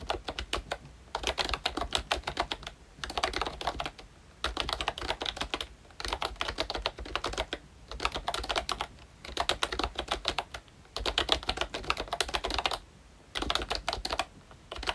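Fingertips of both hands type on a pink plastic ROYCHE Disney Mickey Mouse retro membrane keyboard with round black keycaps. Rapid bursts of bright, short plastic clicks and taps alternate with brief pauses throughout.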